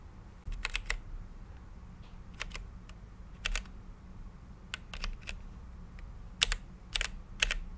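A mechanical keyboard with plastic keycaps and a clear acrylic case, lit by changing RGB light, is typed on with the fingertips of both hands. Key presses land as short, bright, sharp clicks in irregular bursts and pairs, over a faint steady low rumble.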